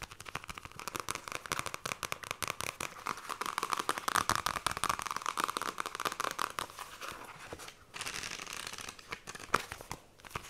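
Long nails tap rapidly on the glossy card cover of a small, solid pink "Fairy Bears" paperback book, producing a dense stream of crisp, bright clicks and scratchy rasps. The pages are briefly flipped with a papery flutter before the tapping resumes.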